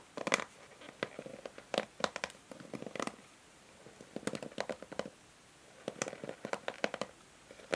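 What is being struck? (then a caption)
Plastic paddle hair brush. Long nails scratch and strum the plastic pins of a pink and white plastic paddle hair brush held in the hand. Quick, dry, bright plucks and ticks come in clusters with short quiet gaps, over a faint steady midrange hum. The level stays soft throughout.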